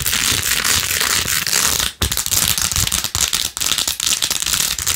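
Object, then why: Plastic phone case covered in plastic pearl beads. Long acrylic nails fast-scratch across rows of pink plastic pearl beads glued onto a handheld rose-gold-edged plastic phone case. The result is a dense, bright, crackling rattle of tiny clicks that runs almost continuously, with brief drops in loudness near two seconds and three and a half seconds.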